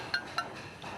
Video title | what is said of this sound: 펄펄 끓는 용암이 밥상으로 올라오는 과정│2000℃ 가마에서 구워낸 대리석만큼 단단한 자죽염│천일염을 대나무 꾹꾹 눌러 담아 9번 구워낸 죽염│소금 공장│극한직업│#골라듄다큐 | 소리가 땡글땡글 소리 나잖아요, 그냥. 예. 소리가 쇳소리다, 쇳소리. 되게 맑은 소리가 나네요.